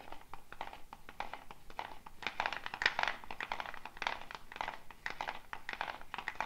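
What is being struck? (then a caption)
Dried gourd shaker with wooden bead net. A hollow dried gourd shaker with a wooden bead net is held up and shaken or twisted, so the wooden beads rattle against the gourd shell. The sound is a dense, quick clatter of short, dry clicks that swells into louder bursts, with most of its energy in the mid range and a bright top.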